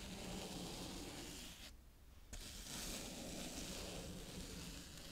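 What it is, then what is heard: Kinetic sand. A green plastic toy scoop smooths and scrapes across a round patch of brown kinetic sand. A soft, steady gritty scraping and rustling runs throughout, with broad hiss and a low hum underneath. It briefly drops to near-quiet just before the middle of the clip before the scraping picks up again.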